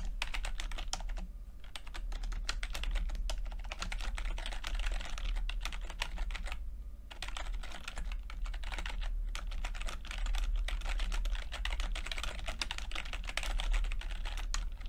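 Fingertips type steadily on a plastic backlit chiclet computer keyboard with plastic keycaps, producing a fast stream of light, bright clicks and taps. A steady low hum sits underneath, and the typing briefly pauses around the 7-second mark before resuming.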